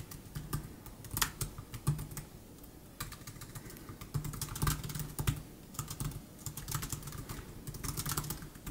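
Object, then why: Plastic chiclet laptop keyboard. Fingertips type continuously on the plastic chiclet keys of a 2015 MacBook Air laptop keyboard. The result is a quick run of soft, bright, clicky taps in uneven bursts, each dying away almost at once, over a steady low hum.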